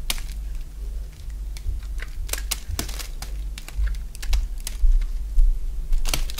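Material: Soap.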